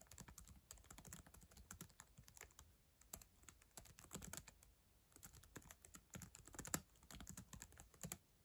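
Long acrylic nails tap rapidly across the plastic keyboard of a black ThinkPad laptop, producing quiet, dry, bright clicks over soft low key thumps. The typing comes in uneven bursts with brief pauses, and one sharper, louder click stands out near the end.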